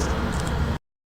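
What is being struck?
Nothing is struck.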